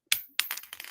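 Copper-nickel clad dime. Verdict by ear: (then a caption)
Flat. A modern clad copper-nickel (non-silver) dime, so-called unsound money, is dropped and bounces, giving bright, high-pitched clinks that die away almost at once with no lingering ring. A first strike is followed by a second and then a quick run of smaller rattling bounces. It sounds flat compared with silver coins.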